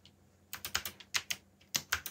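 Fingertips from both hands type on a backlit mechanical keyboard with black plastic keycaps, producing about ten rapid, bright, clacky key clicks in quick bursts. Each click is short and crisp with almost no low end, separated by brief quiet gaps.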